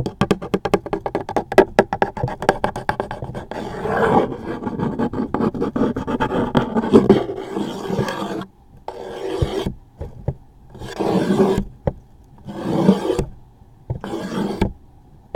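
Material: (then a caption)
Cardboard. A thin toothpick scratches the top of a closed, hollow, medium-size cardboard tissue box held close up. It starts as a fast run of crisp, separate scratches and ticks, then turns to longer rasping strokes in bursts broken by short silences. The hollow box adds a muffled, boxy body to the dry scraping.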